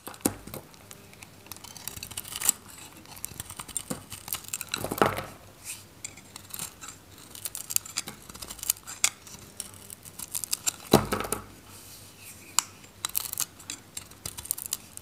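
A metal knife shaves curls from the surface of a solid, handheld, varnished dry purple and green Godrej No.1 soap bar. Crisp, bright scraping and crackling strokes come in quick irregular bursts, with a few louder rasping swipes between the quieter ones.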